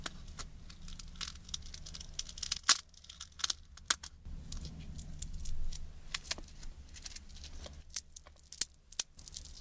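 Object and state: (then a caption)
Wafer ice cream cone. Long nails tap and scratch a small, empty, hollow wafer ice cream cone held upright. Sharp, dry, crackling taps and scraping rasps are heard, bright and brittle with very short decay, over a low steady rumble. Louder taps stand out as crisp clicks, with a longer scratching passage in the middle.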